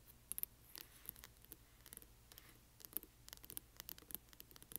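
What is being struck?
Hardcover book with paper dust jacket.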